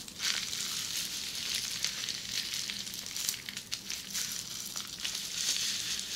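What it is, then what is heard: Plastic bubble wrap being scratched. Long red-painted nails scratch across flat red plastic bubble wrap with small air bubbles, close up. The result is a steady, bright, crackly scratching with a sizzling hiss, sharper ticks scattered throughout and almost no low end.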